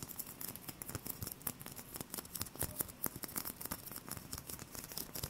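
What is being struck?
Small styrofoam ball.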